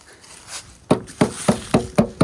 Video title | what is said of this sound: First Look at a 1975 Pontiac Firebird eSprit: Is It Worth The Rescue? | It sounds tinny, not putty, that's good.